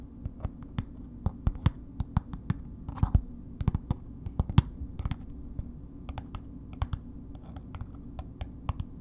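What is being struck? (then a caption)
Paper-wrapped bar of soap. A red paper-wrapped solid bar soap is held and tapped and scratched with long nails on its wide face. Quick, dry, crisp clicks land unevenly over about nine seconds, each dying away almost instantly, with a brief burst of papery scratching near the middle. A steady low hum sits underneath throughout.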